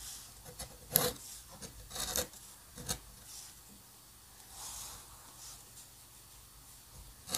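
A steel-nib dip pen scratches lines across a flat sheet of white drawing paper covered in ink spatter, staying in contact with the paper throughout. The strokes come as bright, dry rasping scratches in irregular bursts, with a few sharper peaks early on and softer, longer rubbing in between, all over a quiet background.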